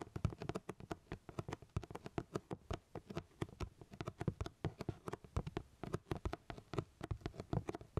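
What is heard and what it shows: Fingertips tap rapidly on the flat sides of a medium black cardboard camera box, closed with its contents inside and held up in both hands. About fifty soft, dull, low thuds follow one another in a quick, uneven rhythm, each dying away at once with no ring.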